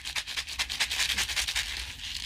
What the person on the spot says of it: I used to shake it like a rattle. As you can hear the seeds in there.